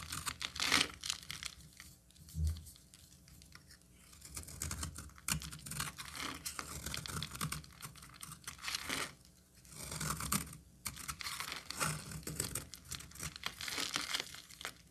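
A solid cream-colored bar of soap is held in the hand and carved with a utility knife, and the shavings crumble off. Crisp, bright scraping and crackling bursts repeat throughout, with short quiet gaps between cuts and a faint low hum underneath.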